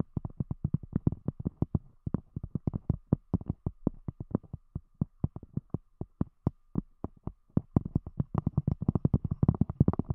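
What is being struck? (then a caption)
Thick cork disc. Long acrylic-style fingernail tips on both hands tap a round, thick, solid cork disc covering a microphone. The result is a rapid stream of dull, low, thumping taps that stop dead with no ring and sit mostly in the deep low end around 137 Hz. The taps grow denser and overlap toward the end.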